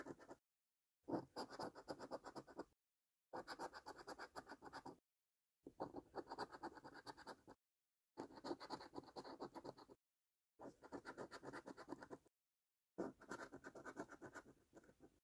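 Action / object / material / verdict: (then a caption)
scrape / coin on a cardboard scratch card / cardboard / none. A coin scratches the remaining latex panels on a flat cardboard £2 "£100 Multiplier" National Lottery scratch card in continuous strokes. The dry, gritty scraping comes in seven bursts separated by brief silences, the first cut short at the start.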